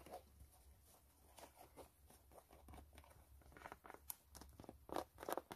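Long nails scratch the white canvas upper and laces of a low-top sneaker, producing quiet, dry, crinkly scrapes and brief patters with bright edges. The scratching is irregular, and a few sharper, louder strokes come near the end.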